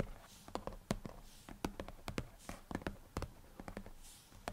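Fingertips from both hands tap repeatedly on the dark glass touchscreen of an iPad lying flat on a desk. The clip has a string of quiet, short, dull taps with a low thump and almost no ring, separated by a faint hiss.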